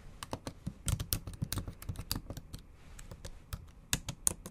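Long acrylic nails tap across the black plastic keys of a MacBook Pro set in an aluminum body. The result is a quick, uneven run of short, dry clicks with bright, high tips, a soft low thump under each, and no ring after any key.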